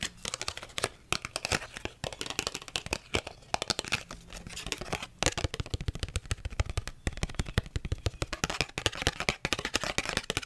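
A small red cardboard UNO card box, held in both hands, is tapped and scratched with long red acrylic nails. Rapid, dry, crisp clicks and scratchy rustles follow one another densely throughout, with bright edges and a faint low hum beneath.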